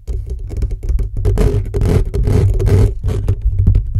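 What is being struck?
Metal mesh microphone grille.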